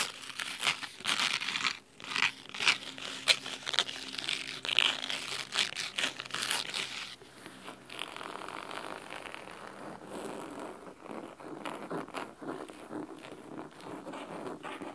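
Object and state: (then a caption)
Fingernails scratching a cloth-bound hardcover book. Fingernails scratch the cloth spine and top cover of a large red cloth-bound hardcover book, making dry, crisp, bright scratching strokes in quick irregular bursts. The strokes are sharper and louder in the first half, then settle into a softer, steadier rasp.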